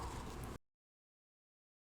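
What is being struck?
Nothing is struck.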